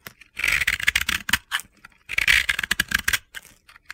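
A utility knife blade scrapes and carves powdery layers off a hand-sized, dry, crumbly yellow and pink soap ball (bath bomb) held in hands with long red nails. Two bursts of bright, gritty, crunchy scraping are heard, each made of quick rasping strokes centered around 2 kHz with almost no low end. Each stroke stops dead with no ring, leaving a dry, crisp crackle.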